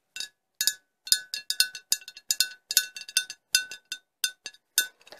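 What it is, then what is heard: Empty glass bottle. A large, empty, hollow cobalt-blue glass bottle is held upside down by hand and tapped with long acrylic nails. About two dozen quick, bright clinks come in an irregular rhythm, each a sharp high ring that dies away almost at once.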